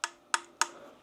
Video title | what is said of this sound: Technics SL-1200GR2 Review and Comparison to SL-1200G | as long as you just ring it slightly, there's a little bit of a ring to it, but I'm talking minute, a lot less than you would expect